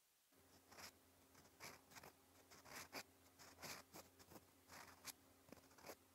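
A steel extra-fine Twsbi Eco fountain pen nib writes orange ink strokes across a flat, cream, lined paper notebook page lying as a solid sheet on a surface. Quiet, bright, scratchy strokes come in a series of short bursts over a steady low hum, with little low end.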